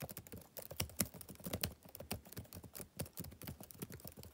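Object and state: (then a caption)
Laptop keyboard typing. Fingertips type rapidly on the plastic keys of a backlit laptop keyboard, making a steady stream of short, dry clicks and taps. Each tap has a soft low thump under a bright, crisp click and fades almost instantly. The keystrokes run unevenly at a quiet level throughout.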